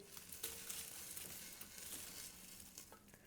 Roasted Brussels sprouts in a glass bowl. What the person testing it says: Do you hear how crispy?